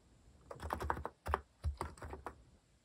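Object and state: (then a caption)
Plastic mechanical keyboard. Fingertips type steadily on a compact white-cased Hanmumu mechanical keyboard with plastic cat-themed keycaps. Quick, dry clacks come in clustered bursts with brief pauses, each with a deep low thock and a midrange click.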